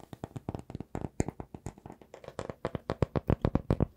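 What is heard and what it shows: A small, solid round slice of raw wood showing its tree rings is held in both hands and tapped and scratched with fingertips and nails. The result is a quick, uneven run of short, dry taps with low, muted thumps, bright clicky edges and scratchy rustle between them, each dying away almost at once.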